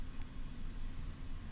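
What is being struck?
Nothing is struck.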